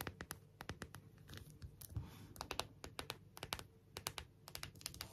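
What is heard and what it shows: Long nails tap and scratch the back and rhinestone-studded edges of an empty, clear plastic phone case. Many quick, sharp clicks with bright high-frequency spikes ring out irregularly over a low, soft background rumble, with brief rasping scratches in between.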